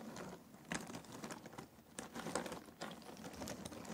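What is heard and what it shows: Fingers rake and stir through a pile of cardboard jigsaw puzzle pieces in a box. The result is a soft, continuous rustling patter of small dry clicks and scrapes, with a few louder clattering bursts as the pieces shift against each other.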